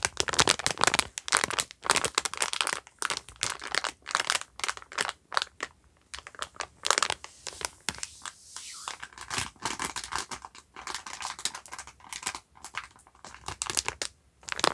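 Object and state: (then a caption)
Plastic-wrapped sponge pack. A yellow sponge pack in clear plastic film wrap is squeezed and rubbed with the fingertips, crushing and crinkling the wrapper. Dense bursts of bright, crackly crinkling come and go with short pauses and almost no low end. A softer, rustling stretch comes near the middle before the sharp crinkles return.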